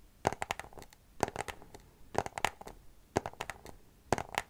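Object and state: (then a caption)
Cardboard box tapped. Long nails tap a small white cardboard product box held upright, in five quick bursts of several rapid clicks each, spaced about a second apart. Each tap is a short, dry, hollow tick with a papery mid-range tone around 800 Hz and bright edges. The taps die away almost instantly, with faint scratchy handling between the bursts.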